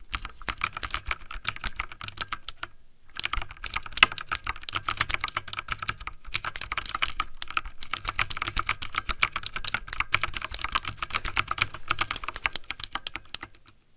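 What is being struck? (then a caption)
Plastic mechanical computer keyboard. Fingertips of both hands type fast on a backlit plastic mechanical computer keyboard, producing a dense stream of bright, crisp key clicks with very little ring. The rapid taps run steadily for about 14 seconds, with a brief pause near 3 seconds and a few shorter breaks.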